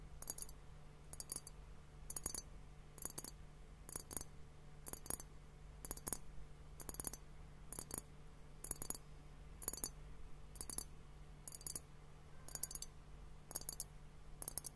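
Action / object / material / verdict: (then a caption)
tap / glass hourglass filled with liquid / glass / none. A large clear glass hourglass filled with bubbly liquid is held in both hands and tapped with fingernails on its glass bulbs. A steady series of quick, bright double clicks comes roughly once a second, each dying away almost instantly. A faint, steady low hum sits underneath throughout.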